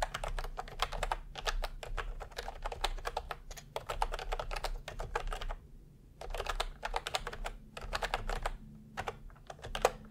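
Fingertips of both hands type continuously on a plastic retro keyboard with round cream and peach keycaps, producing rapid, bright clicky keystrokes in dense bursts. There is a short pause in the middle before typing resumes, over a steady low hum.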